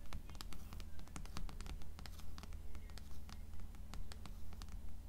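Long acrylic nails tap and scratch the cover of the blue paperback book "Canticle," which rests on top of a stack of other paperbacks. Quick, sharp, bright clicks come in a fairly steady rhythm with brief scratchy rustles between them. A constant low hum runs underneath throughout.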